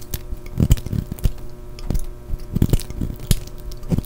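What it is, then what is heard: Bar of soap being sliced. A solid green-and-yellow striped soap bar held in the hand is sliced with a utility knife blade, peeling off thin curled ribbons. The clip is a run of short, soft, crisp cutting scrapes and snaps, mostly deep and muffled with brief bright edges, spaced irregularly across the clip.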